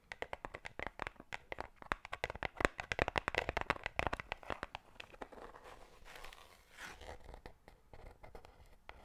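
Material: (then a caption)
Cardboard. Long black pointed nails rapidly tap a small, closed, hollow white cardboard Pandora jewelry box held in the hand near the mic, producing quick, irregular, dry clicks. After about five seconds the tapping gives way to softer, continuous scratching across the cardboard, with a few light taps near the end.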